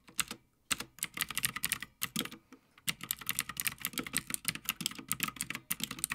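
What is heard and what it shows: Both hands type continuously on a full-size backlit Havit mechanical gaming keyboard with plastic keycaps on a metal top plate. Rapid, bright, clicky keystrokes arrive in bursts with short pauses between runs. Each strike is crisp and dry, with very little low end.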